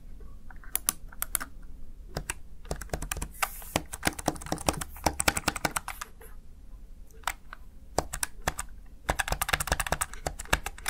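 Fingertips press the keys of a plastic Razer Tartarus Chroma gaming keypad, producing a close, steady run of sharp plastic clicks and clacks. The keystrokes come in quick bursts separated by brief pauses, with bright, crisp attacks over a low background hum.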